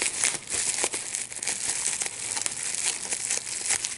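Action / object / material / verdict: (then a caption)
scrape / plastic bubble wrap sheet / plastic / none. A large sheet of clear plastic bubble wrap with small air bubbles is held in both hands while the bubbles are popped by pinching them with the fingertips and thumbs. A rapid, irregular run of sharp, bright pops and crinkling rustle sounds, with the energy mostly high and almost no low end.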